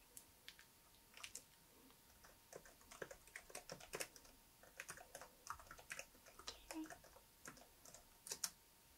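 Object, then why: Plastic laptop keyboard. Fingertips of both hands type continuously on the solid plastic keys of a laptop keyboard. Around thirty quiet, bright, clicky taps fall in an uneven rhythm, each dying away almost instantly. A faint steady tone runs underneath.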